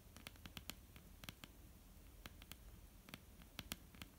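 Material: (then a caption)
Wood. Nail tips and fingertips of both hands tap a flat, solid wooden tabletop in a quick, irregular run of light taps. Each tap is a short, dry click with a bright edge that dies away almost instantly over a soft, low background hum.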